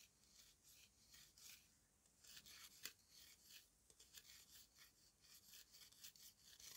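A yellow-handled steel knife blade scrapes and shaves the dry surface of a solid dome of dried red mud cake dusted with colored powder, while the other hand steadies it. Quiet, bright, rasping scrapes come in repeated short strokes, with gritty crumbling and almost no low end.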